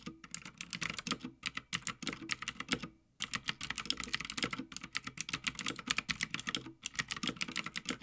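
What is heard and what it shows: Fingertips of both hands type continuously on a full-size, backlit Havit gaming mechanical keyboard with plastic keycaps on a metal top plate. Rapid, bright, clacky keystrokes run in quick bursts, with a brief pause around three seconds before the typing picks up again. Each click is short and dry with almost no ring.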